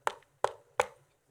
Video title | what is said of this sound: Zealot S61 Review - Best Budget Bluetooth Speaker 2024? | it does feel a little bit Hollow not Hollow in the sense that it is bad or anything